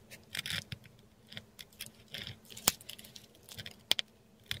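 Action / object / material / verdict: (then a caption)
scrape / textured paper sheet under a metal dip pen nib / paper / none. A metal dip pen nib scratches across a flat sheet of textured Korean paper in close-up, writing Thai letters in ink. Dry, bright scratching strokes come in irregular bursts, with a few sharper clicks where the nib catches, over a faint steady low hum.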